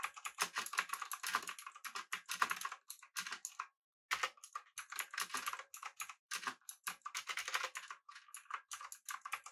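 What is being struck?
Mechanical keyboard with metal body and round plastic keycaps.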